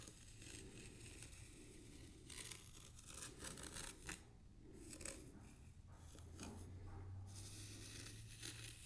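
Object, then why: Fine sand in a small tray. The tip of a thin bamboo stick scratches patterns into a shallow layer of fine white sand in a small black square tray. Soft, gritty rasping strokes come in bursts of bright, hissy scraping, over a steady low hum.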